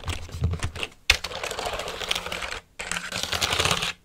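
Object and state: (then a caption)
Plastic computer keyboard. Fingertips press and tap the keys of a black plastic computer keyboard held upright. The result is rapid, dense bursts of short, bright plastic clicks over a faint low thump, broken by two brief silent pauses.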